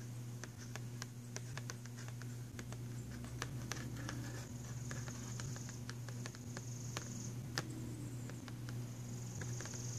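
Fingernails tap rapidly on the printed cardboard cover of a filled box of pastel pencils, giving quick, dry, papery clicks. A steady low hum runs underneath, with a faint high hiss that comes and goes.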